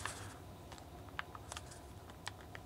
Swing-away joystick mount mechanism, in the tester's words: there's just a little a little bit of movement there